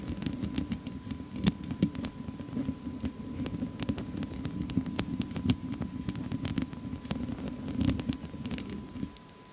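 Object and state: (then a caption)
Metal mesh microphone grille being scratched. Long fake nails, worked with both hands, scratch continuously across the hollow metal mesh head of a studio microphone. The result is a dense, low scratching rumble peppered with frequent sharp, bright clicks over a steady faint hum, and it drops away just before the end.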